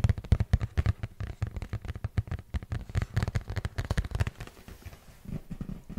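A hollow printed cardboard product box is tapped and scratched with fingertips and nails right beside the microphone. Rapid, dense, low, thumpy taps come in quick bursts with soft scratchy brushing between them. The tapping thins out toward the end into quieter rubbing.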